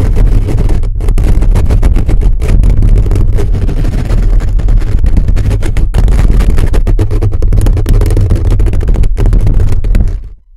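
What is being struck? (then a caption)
Metal mesh microphone grille. Fingertips and nails scratch fast and hard across a hollow black metal mesh microphone grille held close. The result is a dense, continuous, booming low rumble with rapid scraping texture and little brightness, holding steady throughout before cutting off and fading out at the very end.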